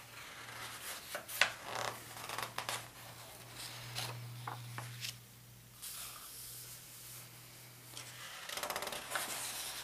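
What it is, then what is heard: Paper atlas pages being turned. Fingertips grip the edges of the thin paper pages of a large open world atlas, flipping them and rustling the paper. Bright, crisp rustles and swishes of turning pages come in bursts, with a quieter pause in the middle and a faint steady low hum underneath.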